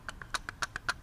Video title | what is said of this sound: PROJECT VIDEO Fabricating a brass emblem for a model steam tractor | you can hear the tap on the opposing Corners here which means this part is bowed